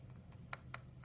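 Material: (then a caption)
Aluminum. Light taps on the aluminum camera cutout ring of an aramid fiber phone case give short, bright clicks with a faint rattle that die away almost at once over a low steady hum. The ring is loose and shakes slightly when tapped.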